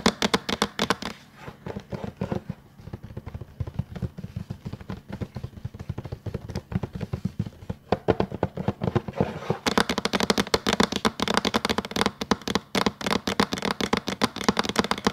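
Fingertips of both hands tap and drum rapidly on a flat, solid, tablet-sized plastic LED tracing light board with a pink rim and paper on top. Dense, quick, dry clicking taps come in uneven bursts, quieter in the middle and turning brighter and busier near the end.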